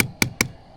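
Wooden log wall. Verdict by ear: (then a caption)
Solid. Knuckle-free tapping on a full, solid wooden log in a cabin wall below the gable, set against the log siding above it. Short, dry knocks with a bright attack die away almost at once, and the log sounds solid.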